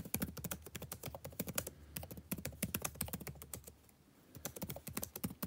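Fingertips type rapidly on a backlit laptop keyboard with plastic keys, producing a quick run of short, crisp taps with bright clicky tops. The typing stops for about half a second before resuming.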